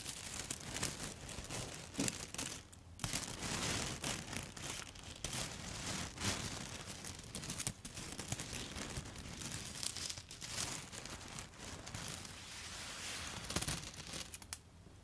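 A handful of dry yellow spaghetti sticks is tapped and scratched with long foil-covered nail tips, including from above. The result is a steady, quiet stream of dense, bright crackling, crinkling and scraping with quick dry clicks and no ringing.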